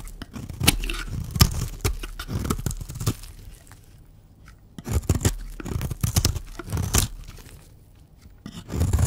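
A blue striped oval bar of dry solid soap, held in the hand, is shaved into flakes with a utility knife blade. Crisp, dry scraping and crunching strokes come in quick runs, with bright high edges over a low thud from the blade. Brief quiet pauses separate the runs.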